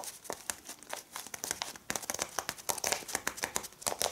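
Long red-painted nails tap and scratch across a small flat packet of folded brown kraft paper lying on a cloth-covered table, with both hands resting on it. A quick run of bright, crinkly clicks and scratches with papery rustle comes through, each tap dry and short with almost no low end.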